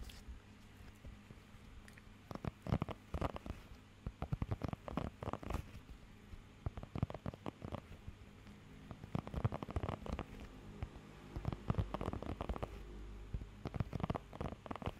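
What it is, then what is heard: Rubber grooming glove. A blue rubber pet hair grooming glove with nubs is held flat while fingertips and nails scratch and tap across it. The result is a dense run of short, dull taps and scratchy rustles, heaviest in the low end, set against a soft steady hum. The taps bunch into clusters that pick up toward the end.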